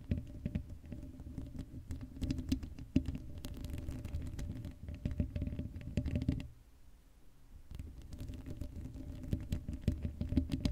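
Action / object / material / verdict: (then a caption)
scrape / metal mesh microphone grille / metal mesh / none. Long acrylic nails scratch fast across the black metal mesh dome grille of an uncovered Blue Yeti microphone. The result is a dense, crackling patter of quick scrapes, heavy in the low end with a faint steady tone underneath. The scratching drops away briefly past the middle, then resumes just as busy.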